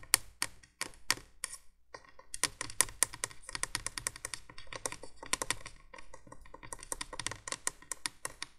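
Long nails tap rapidly on the hollow plastic base of a 1980s window candolier light, making a busy stream of crisp, bright clicks with almost no ring. The taps come in quick bursts with short pauses, some louder than others, over a faint low hum.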